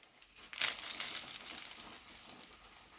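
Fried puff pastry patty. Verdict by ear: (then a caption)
Crisp. A freshly fried, layered puff pastry patty with a filled stuffing is broken open by hand. A burst of bright, crackling crunches and flaky crumbling rises at about half a second and then fades into softer crinkles. The sound shows the patty is crisp, with well-opened layers.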